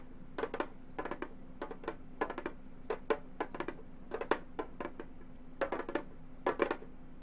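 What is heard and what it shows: Long gold metal finger claws tap on a hollow, round Remo frame drum with a synthetic head, producing quick clusters of short, bright, clicky taps that die away almost instantly. A faint, steady low hum runs underneath the tapping throughout.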